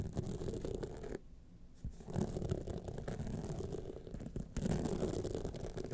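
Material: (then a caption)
Rhinestones. Long fingernails on both hands scratch down the studded face of a gold rhinestone clutch wallet standing upright. The result is a dense, continuous rasping scratch with a low, rumbly body. It quiets briefly after about a second before returning and swelling louder near the end.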